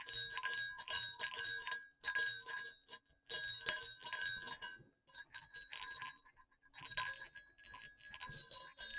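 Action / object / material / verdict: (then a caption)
shake / pair of small metal jingle bells on a cord / metal / none. Two small, hollow, silver metal jingle bells hang one above the other on a cord and are shaken to jingle. Bursts of bright, high-pitched jingling come in irregular clusters separated by short silent pauses, with each ring fading quickly.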